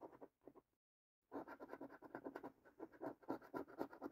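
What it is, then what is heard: Coin scratching a latex-coated paper scratch card. A coin scratches the latex coating off the top strip and panels of a new, thin cardboard £1 Million Cube Smash scratch card held in the hand. A few short scrapes are followed by a brief pause, then a steady run of rapid, rasping strokes with a dry, mid-pitched texture.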